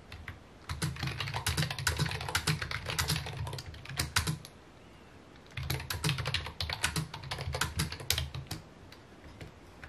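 Fingertips rapidly tap the keys of a full-size white and mint plastic computer keyboard with a hollow housing, resting on a wooden desk. Two bursts of quick typing are separated by a short pause, each producing hollow low thuds under bright, crisp clicks that die away almost instantly.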